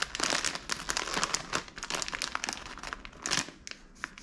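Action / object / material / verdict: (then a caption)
scrape / plastic film snack bag of popcorn / plastic film / none. A medium, full SkinnyPop popcorn bag of crinkly plastic film is held in the hand and squeezed and crinkled with the fingers. Dense, bright crackling and rustling comes in quick bursts, swelling and easing with each squeeze.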